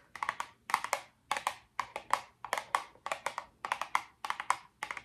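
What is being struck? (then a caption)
Small cardboard box. Long orange nails tap and scratch a small, hollow, pink printed Miracle Patch cardboard box held in both hands. The result is quick clusters of dry, hollow clicks with a woody tone centered near 1 kHz and a bright scratchy edge, each dying out almost at once, separated by short pauses.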